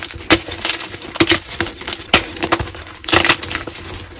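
A palm-sized solid white block of gym chalk (magnesium carbonate) is squeezed and crushed in both hands until it crumbles into chunks and powder over a pile of chalk debris. Sharp, bright crunches and crackles burst out irregularly, each snapping off quickly over a soft gritty crumbling texture with very little low end.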